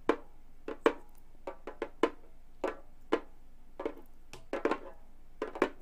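A Remo frame drum with a hollow frame and a synthetic skin head is tapped with long gold metal claws. The result is a series of short, dry, irregularly spaced taps with a woody, hollow tone around 450 Hz, some landing in quick clusters, each dying away almost instantly over near silence.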